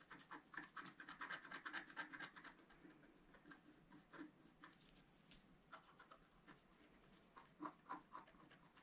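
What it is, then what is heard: Scratch-art card being scratched. A wooden stylus scratches across a flat, black-coated scratch-art card in continuous strokes. Quick, dry rasping scrapes with a bright, hissy edge come thick and fast for the first couple of seconds, then thin out into quieter, scattered strokes with a few sharper scrapes near the end.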